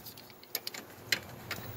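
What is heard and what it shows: A tool taps a few times on the metal condenser/compressor unit of a Goodman air conditioner before it is switched on. Each tap gives a short, bright, high-pitched tick with almost no ring, making a faint little rattling noise over a quiet background.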